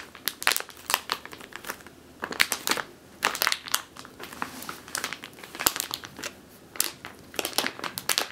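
A medium clear plastic bag with a purple label, full of flour or grain and turned on its side, is squeezed by long teal nails. Bright, sharp crinkling comes in irregular bursts with quick decays and quiet gaps between, with almost no low end.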